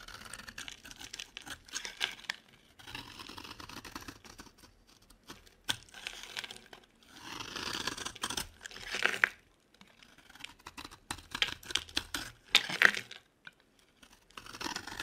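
A solid yellow oval Palmolive bar soap held in the hand is scraped with a metal blade, peeling off fine shavings. The sound is a series of dry, bright scraping and crumbly crunching strokes with short pauses between passes, mostly high-pitched with almost no low end.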